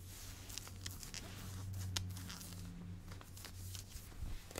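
Long blue-painted fingernails scratch olive ribbed nylon-spandex stretch workout shorts being worn, the soft thin fabric pulled over the body. Quiet, bright, brushy scratches come in quick repeated strokes over a steady low hum.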